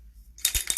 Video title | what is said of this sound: Make up noir et rose | il y a une petite bille, ça fait du bruit, mais c'est normal. Vous secouez